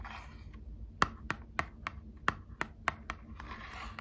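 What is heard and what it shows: Long acrylic nails scratch and tap the front of a small, hollow, printed cardboard box of Squishmallows trading cards. Soft, bright scratching opens the clip, followed by a loose run of sharp, dry clicks with very little ring, before the scratching returns at the end.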